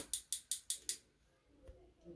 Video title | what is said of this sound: Our Point of View on SeneGence Roseberry LipSense Lip Stain From Amazon | you can hear there's a little ball in there that mixes up everything real nice